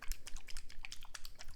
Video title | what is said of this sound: Best products I used this summer! - CURRENT FAVORITES | it's very liquidy. So, you have to shake it a bit.